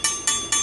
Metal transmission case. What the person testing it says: Solid ang tunog niya. Pagkabasag yan, iba ang tunog.